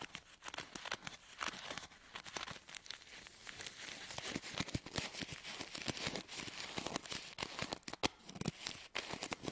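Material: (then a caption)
Paper. Fingers squeeze and crinkle a hand-held bundle of filled paper tea sachets, then fan and riffle the paper edges with fingertips and nails. The result is a dense, steady stream of dry, bright crinkling, rustling and tearing-like crackles with very little low end and no ringing.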